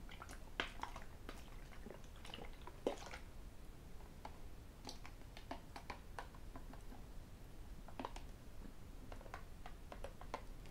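A hollow white plastic sports bottle with a black cap is turned in the hands and tapped with fingertips and metal rings. Quiet, short, dry clicks and ticks come at an uneven pace, some bright and sharp, over a low, soft background rumble.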